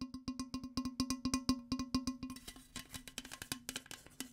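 A tall, printed aluminum Arizona green tea can, held in the hand, is tapped and scratched with long fingernails and fingertips. Quick, irregular taps each give a short metallic tone around 250 Hz with bright overtones. After about two seconds the taps give way to a hissier, bright scratching mixed with more clicks.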